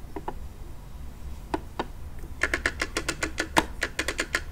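Fingernails tap on a hollow pink plastic monster toy car with wheels, held close to the microphone. A few sparse taps give way to a quicker, uneven run of sharp, hollow plastic clicks. Each click is dry and stops almost at once, over a faint low background hum.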